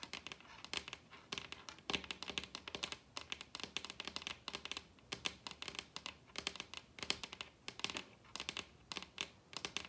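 Long red nails tap rapidly on a large, solid wooden table top. The result is a dense run of quick, bright, clicky taps that die away almost instantly, with very little low end.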